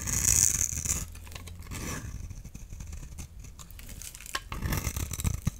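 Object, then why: Bar soap and knife blade. A solid oval blue bar of soap, held in the palm, is scraped and shaved with a utility knife blade, peeling off powdery blue curls. A loud, bright scraping burst opens the clip, then settles into quieter, irregular dry scratches before several sharper scrapes return near the end.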